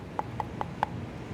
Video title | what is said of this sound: Learn English: Good Habits vs Bad habits | They are made of wood. You can hear it when I knock.